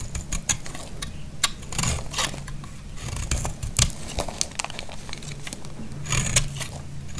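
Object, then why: Bar soap cut with a knife blade. A solid, dry green bar of soap, held in the hand over soap shavings, is scraped and sliced with a snap-off knife blade. Crisp, bright scraping and sharp cutting clicks come in uneven bursts over a steady low hum.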